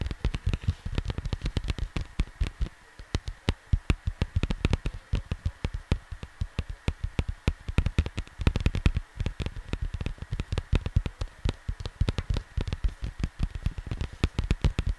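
Fingertips tap and scratch on the printed surface of a square cardboard vinyl record sleeve lying flat near the mic. The result is a steady stream of rapid, dry, low thuds with quick soft scratches between them, each tap dying away almost instantly.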